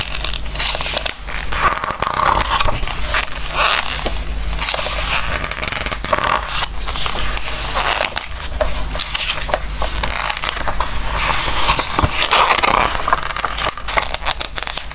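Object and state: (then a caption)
Glossy paper book pages. Hands turn the glossy paper pages of a large softcover Christmas craft book lying open on a wooden table and rub them with their fingertips. The pages squeak and crinkle in a steady run of bright, crackly rustles over a low, constant hum.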